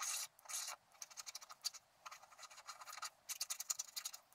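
A wooden stylus scratches along the bottom edge of a flat scratch-art card coated in black. Two longer, bright scraping strokes open the clip, followed by a quick run of short, dry, high-pitched scratches, with a louder cluster near the end. The sound has no low end and no ring after each stroke.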